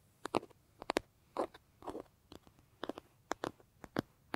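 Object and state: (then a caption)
Leather bag, tapped and scratched. Fingertips scratch and lightly tap the surface of a large, hollow brown leather bag held against the body. The result is a quick run of dry, soft taps and brief scratchy rustles, mostly in the mid-range, each fading almost instantly with quiet pauses between.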